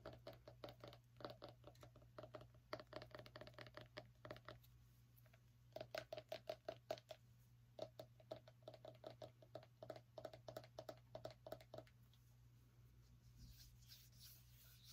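Long nails tap rapidly on a small orange pumpkin, giving quick hollow clicks with a ringing tone around 630 Hz. The taps come in fast bursts separated by brief pauses over a steady low hum, and the clip ends in a softer, faint scratchy rustle.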